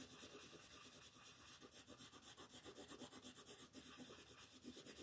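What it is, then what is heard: Pencil coloring on paper. A yellow wooden colored pencil rubs and scratches across a flat sheet of white paper printed with a monkey, lying on a table while the other hand rests on the sheet. The short, rapid coloring strokes make a quiet, steady, rhythmic rasp with a bright, papery hiss.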